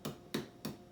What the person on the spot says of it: listen for the melon that sounds hollow